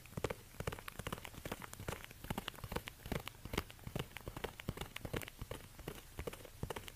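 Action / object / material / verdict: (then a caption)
tap / suede ankle boot, tapped and scratched with rubber-gloved fingertips / suede / none. Fingertips in orange rubber dish gloves tap and scratch the suede upper of a single black suede high-heel ankle bootie with a stiletto heel, hollow and empty, standing on a white fur rug. Quick, soft, dull taps with brief scratchy rustles repeat in an uneven patter throughout, each dying away almost instantly, with most of the weight low and a muffled, thudding character.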